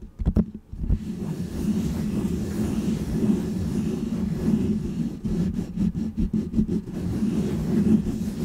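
A small, round, white textured foam windscreen on a microphone is scratched and rubbed with fingertips and nails. A few sharp thumps open the clip, then a steady, muffled, low rumbling scrape continues, broken later by a quick run of soft taps and brushes.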